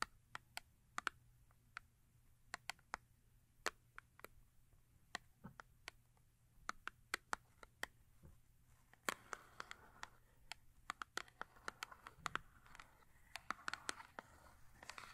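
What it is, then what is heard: Cardboard soap box tapped with nails. Long acrylic nails tap the flat face of a small cardboard Yardley soap box that is full with a soap bar and lies large face up. Many quick, dry clicks land in an irregular rhythm, each dying almost instantly, with a woody tone near 1.1 kHz and bright edges. A faint scratchy rustle thickens in the second half beneath the quiet taps, over a low steady hum.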